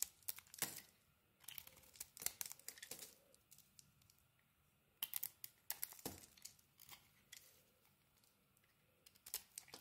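A solid rectangular bar of soap, white inside with a yellow coating, is held in the hand and shaved with a metal blade. Crisp, bright scraping and crumbly crackling come in quick bursts of strokes with quiet pauses between them, with almost no low end.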